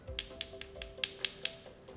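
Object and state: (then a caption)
Solid live oyster. Two live oysters in their shells are tapped together to check them, making a quick series of sharp, bright clicks with almost no ring. Each tap sounds solid, the sign of a great oyster, over a faint steady hum.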